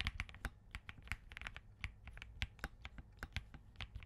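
Both hands type continuously with their fingertips on a compact Spark67 mechanical keyboard with Crane switches and green plastic keycaps. About twenty short, crisp keystrokes land in quick succession, each a bright click over a low thock that dies away almost at once.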